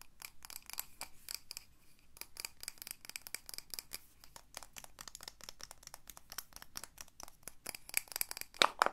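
A medium pink candle jar, likely glass, filled with solid wax and topped with a wooden lid, is held in both hands and tapped and rubbed with long dark-painted nails. The result is a quiet, rapid run of many short, bright clicks and taps with light scratchy rubbing between them. A few sharper, louder taps come near the end.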